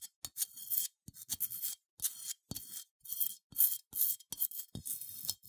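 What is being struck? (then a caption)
Unglazed ceramic sheep figurine. Long nails scratch the bumpy wool texture of a small cream, matte, unglazed ceramic sheep figurine with a smooth face, held in the hands. The result is a series of quick, bright, dry scratching bursts separated by short silences, with faint low taps at the start of some strokes.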